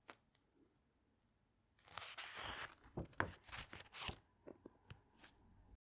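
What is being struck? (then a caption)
Glossy paper pages of a hardcover book. Long nails and fingertips flip and flatten the glossy paper pages of a large open hardcover book. After a near-silent start with one faint tick, a sustained crinkly rustle of a page turning sets in, followed by a string of shorter papery swishes, crackles and soft taps as the pages are pressed flat.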